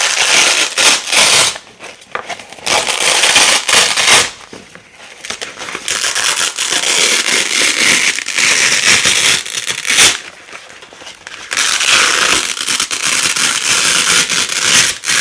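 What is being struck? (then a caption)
Nylon hook-and-loop (velcro) strip. Hands with long nails peel apart thin, flexible pink loop and white hook nylon velcro strips. The result is long bursts of bright, crackling, ripping sound separated by brief quieter pauses.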